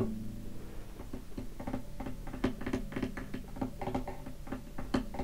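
Fingertips lightly tap the top of a hollow wooden acoustic guitar lying in its open case, producing a quick, soft series of short, dull knocks. Each tap resonates briefly with a warm, low body tone around 260 Hz over faint, sustained humming from the strings.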